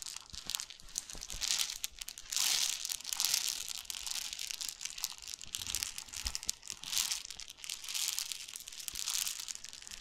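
A clear plastic bottle about 25 cm long with a yellow-green cap, full of small brown seeds or grain, is held in both hands and rubbed, scratched and tilted with the fingertips. The seeds shift and rustle inside, making bright, hissy crinkling swells with quick scratchy ticks and almost no low end.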